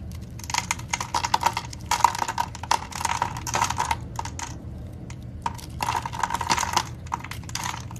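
A dark-handled knife blade scrapes and carves thin flakes from a solid, hand-sized, oval purple bar of soap that is pre-scored with parallel lines and held in the palm over a holographic backdrop, letting the flakes fall away. Quick clusters of crisp, bright crackling scrapes come in bursts with a faint tonal ring near 945 Hz, separated by short quieter pauses.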